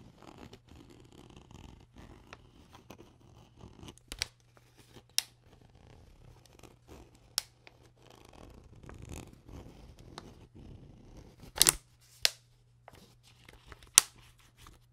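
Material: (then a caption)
Plastic. An empty clear PET plastic water bottle is held near the camera while fingers twist its white cap and nails rub the ridged neck. Soft, bright scratching and crinkling runs throughout, broken by six sharp, high plastic clicks that stop instantly, over a faint steady low hum.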